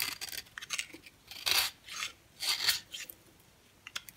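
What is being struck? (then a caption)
Bar of soap scraped with a blade. A box cutter blade scrapes a yellow oval bar of very dry solid soap held in the hand, shaving powder off the bar. Bright, dry rasping strokes hiss and crackle, with two longer, louder scrapes in the middle and short light scratches between them. There is almost no low end and no ringing.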